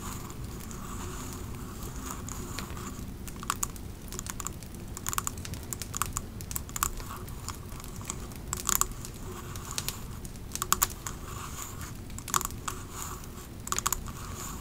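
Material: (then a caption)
Glass. Long nails on both hands tap the sides of a large clear glass "Pumpkin Cupcake" 3-wick candle jar, filled with wax and capped with a metal lid, as it rests on a fluffy rug. Quick, dry clicking taps with a bright tick around 1.1 kHz cut off almost instantly, scattered irregularly over a steady low rumble.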